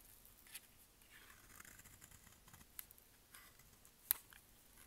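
A utility-knife blade scrapes and cuts a solid pale-green bar of dry soap held in the palm, making crumbly shavings. Quiet, bright, crisp scraping and crumbling is broken by short sharp ticks, with one louder snap near the end.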